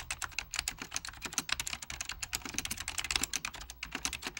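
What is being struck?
Plastic computer keyboard with mechanical switches.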